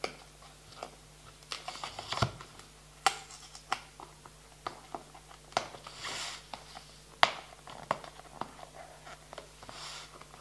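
Fingertips and nails tap and scratch a small clear plastic box full of green playing cards on a table. About a dozen sharp, dry, bright clicks land at irregular intervals, with soft crinkly scratching between them, over a faint steady low hum.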